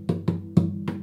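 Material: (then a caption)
Wood. Four taps around the body of a wooden acoustic guitar, checking the body and braces for anything loose. Each tap gives a short, low, woody knock centered near 170 Hz that dies away quickly, with no buzz or rattle. Nothing loose is heard.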